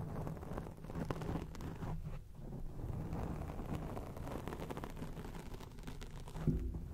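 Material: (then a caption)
Foam. Long acrylic nails scratch a round grey foam windscreen on a microphone, producing a steady, muffled, low rumbling rustle with almost no high end. The scratching runs continuously for about seven seconds, with a louder thump-like burst near the end.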